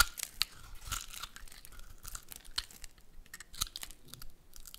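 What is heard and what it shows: A metal utility blade shaves curled flakes off a hand-sized, solid dark brown soap bar with red speckles, held in one hand. Dry, crunchy scraping strokes come in quick, uneven bursts with a bright, crisp edge. Faint crinkling fills the gaps between them.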